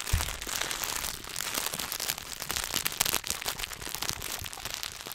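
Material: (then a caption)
Foil and paper. A solid Hershey's milk chocolate bar in its paper and foil wrapper is tapped and scratched with fingertips and turned in the hands. The result is a dense, continuous crinkling and crackling with many quick, sharp, bright ticks. A low thump sounds near the start.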